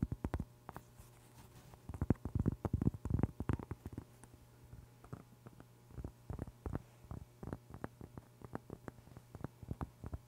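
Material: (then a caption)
Cork. Long pink acrylic nails rapidly scratch and tap a large, flat, round cork board, thin and solid, held close to the microphone. The result is quiet, dull, low taps with almost no ring, coming in irregular clusters of fast bursts over a faint steady low hum.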